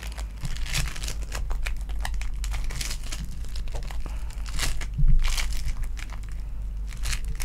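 A small lilac foam bead clay lump, held over a table, is pinched and squeezed with fingertips and long nails. Dense, dry crackling and crinkling pops run continuously over a steady low rumble, with a slightly louder burst of squeezing around the middle.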